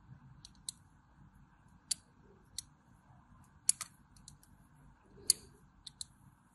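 A small metal blade cuts a cross-hatch grid into the face of a solid white bar of soap held in the hand, with shavings falling onto a blue surface. Eight short, sharp, bright scraping clicks come at irregular intervals over quiet, low background noise.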